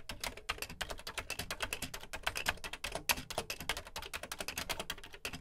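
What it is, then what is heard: Plastic computer keyboard being typed on. Fingertips type quickly on the dark plastic keys of a beige plastic Commodore VC 20 home computer keyboard. It makes a steady stream of short, bright, dry plastic clicks and clacks with a light low thump under each keystroke. Each click dies away almost instantly.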